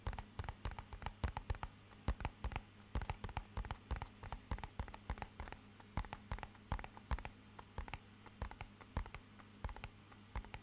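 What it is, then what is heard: Cardboard box tapped. A small, rigid, hollow, matte-black rectangular cardboard box is held in both hands close to the mic and tapped with short fingernails and fingertips. About fifty quick, dry, hollow taps land in irregular bursts; each dies away almost instantly, over a faint steady low hum.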